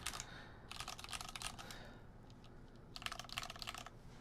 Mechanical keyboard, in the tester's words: This is very clacky. It's not the good type of clacky, it's the hollow type of clacky